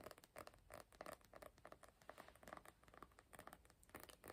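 A small, closed hardcover notebook with a glossy cardboard cover printed with a Star Wars comic is held in both hands and tapped and scratched on the cover with fingertips and nails. The result is a quiet, rapid run of dry, hollow midrange taps that die away almost instantly, with soft scratching in between.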